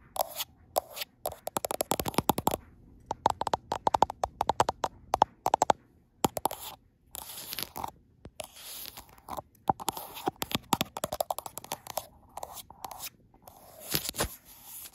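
Long nails tap and scratch the frosted glass back of a handheld gold iPhone near its camera module, and the same phone is doing the recording. Rapid bursts of sharp, dry clicks alternate with brief scratchy brushing strokes and short pauses. Each tap dies away instantly, and the sound sits mostly in the midrange with little low end.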